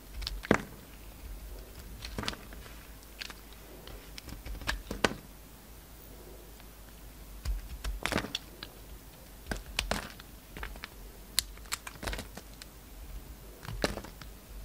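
A solid pink-and-white layered bar of soap, held in the hand, is carved with a pink-handled utility knife blade that peels curls off it. Quiet, crisp scraping and cutting ticks come in irregular bursts, with brief bright clicks over a low, steady hum.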